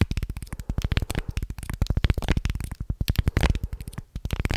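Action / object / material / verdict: scrape / small carved wooden guiro scraped with a wooden stick / wood / none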